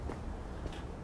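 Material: Nothing is struck.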